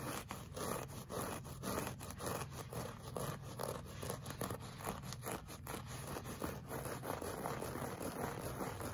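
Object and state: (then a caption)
Looped fabric rug. Short fingernails and fingertips scratch a flat, solid, beige looped-pile woven fabric rug. The result is a steady run of quick, dry scratching strokes with a soft, rough midrange texture and a low, dull undertone.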